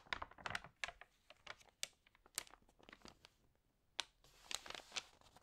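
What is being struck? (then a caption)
Glossy paper magazine page. Long nails scratch across the page of an open glossy paper magazine while fingers turn it, making crisp crinkles. The sound is a quiet series of sharp, bright crackles and rustles with almost no low end, each snap dying away at once between softer scratching.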